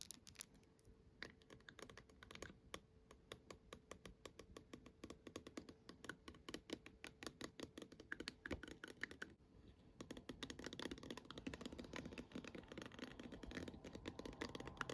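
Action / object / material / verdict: tap / plastic night-light dome / plastic / none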